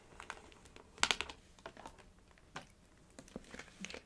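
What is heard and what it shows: Long acrylic nails tap and trace across a small, hollow, light blue printed paperboard packaging box with a white top, held upright on a knit blanket. Eight quiet, bright, crisp taps and dry scratchy rustles come through, the loudest pair near the one-second mark, each stopping almost instantly.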